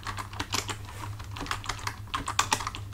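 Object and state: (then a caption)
Plastic computer keyboard. Fingertips of both hands type on a full-size black plastic computer keyboard resting on a desk, the hands staying on the keys throughout. Quick, bright plastic key clicks tap out in an uneven stream over a steady low hum.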